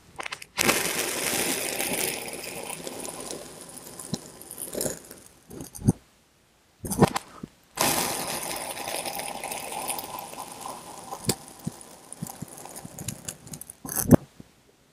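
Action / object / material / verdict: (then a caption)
scrape / block of kinetic sand cut with a steel knife / kinetic sand / none. A steel kitchen knife blade presses slowly down through a small, solid rectangular block of blue and green kinetic sand. Two long, gritty, crackling scrapes are heard, each with bright hiss and a few sharp ticks. A short burst of crunch separates the two passes.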